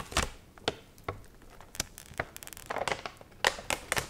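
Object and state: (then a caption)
Crinkled water-wrinkled magazine paper. A water-wrinkled, dried paper magazine page with an onion photo is curled, bent and crinkled with fingertips and nails. Sharp, bright crackles and snaps stand out against a quiet background, with clusters of brittle rustling in between. Each crackle dies away almost instantly.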